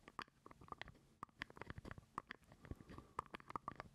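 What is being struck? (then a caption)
Small plastic jar lid. Fingernails scratch and tap a small, hollow purple plastic jar lid held close to the mic. A quiet, irregular run of sharp clicking taps rings briefly with a hollow midrange tone, with soft scratching between them and a faint low rumble underneath.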